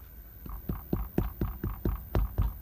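Nine quick taps on a freshly baked, still-hot sourdough loaf, made on a stovetop in a van and baked longer than earlier loaves, give short, dull, low thumps that die away fast. The hollow sound shows the loaf is baked through.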